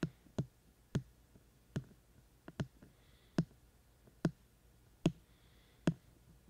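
Fingertips tap repeatedly on the white silicone ear shells on both sides of a binaural microphone with a black plastic body. Ten short, dull, low thuds come at an uneven pace, each dying away almost instantly over a quiet background.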